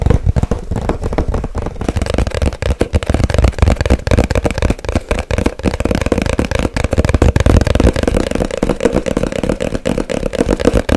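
A small, hollow white cardboard box held close to the mic is tapped fast with long nails. The result is a continuous, dense patter of quick, dry, hollow taps with a deep, boomy low end and a steady midrange resonance. The tapping runs without pause for about eleven seconds.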